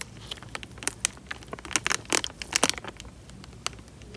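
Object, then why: Thin plastic bag filled with water. Fingertips pinch, squeeze and crinkle the thin film of a small, clear plastic bag full of water. It makes an irregular run of sharp, bright crackles and crinkles with almost no low end, over a faint steady hiss. The busiest burst comes in the middle and then thins out to a few scattered ticks.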